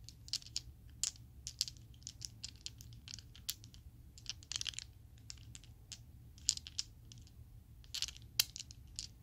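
A set of small, solid purple-teal Chessex acrylic polyhedral dice is shaken in an open palm so the dice rattle against each other. Many sharp, bright, very short clicks come in irregular bursts, some louder clacks standing out, over a quiet low hum.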